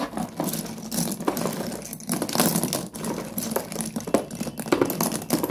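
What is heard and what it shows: A hand presses, scoops and drops broken pieces of solid slate pencil sticks piled in a cardboard box. Dense, dry crunching and clicking rattles on steadily, with bright, brittle clatter and small bursts as the pieces tumble and grind against each other.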